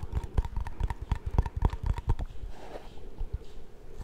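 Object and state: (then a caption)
Plastic shaving cream tub. Fingertips and nails quickly tap a small, round, cream-colored plastic shaving cream tub with a screw lid, which seems to be filled with product, including taps on the lid. About 12 short, dull, low knocks with light clicky tops come in a fast, uneven run over the first two seconds. They give way to quieter, softer handling sounds for the rest of the clip.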